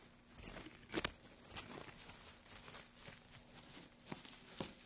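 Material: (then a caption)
Wood. Gloved fingers press into and scratch through a loose pile of dry wood shavings. The result is a quiet, bright, dry crinkling and rustling, with several sharp crackly peaks standing out over a soft continuous scratching, and no low rumble.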